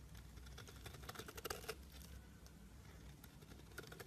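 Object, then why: Bar of soap. A blade scrapes and shaves the surface of a solid pale green soap bar, making a quiet, rapid run of crisp, bright ticks and scratches over a steady low hum. The scraping grows louder and sharper in the middle, then settles back into soft, even shaving.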